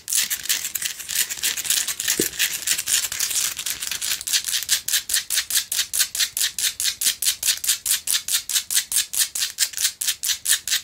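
Long nails scratch across the top of a small, lit Himalayan rock-salt lamp, a solid rough chunk held in the hands. A dense, bright, dry rasping starts as a near-continuous scrape, then settles into quick, separate strokes at a steady rhythm. Each stroke stops short with almost no ring.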